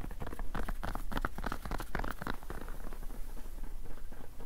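A black rolled mousepad of fabric and rubber is held up in both hands while fingertips scratch and tap along its rolled cloth surface. A quick, dry patter of soft scratches and light taps runs throughout, each sound dying away almost instantly, with most of the energy low.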